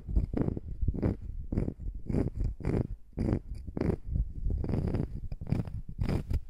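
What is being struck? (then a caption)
Wooden slice coaster. A small, flat, round solid wood slice coaster is held over a microphone and scratched and tapped with long nails. The result is a steady run of close, low, rumbling scrapes and soft thuds, with short bright clicks rising out of the texture.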